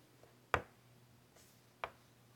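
A white chalk stick rubs and scratches rasping lines on a large, flat, wood-framed chalkboard. Two short, dry scrapes stand out, the first louder than the second, each centered in the midrange with a bright edge and fading almost instantly. A faint low hum sits underneath.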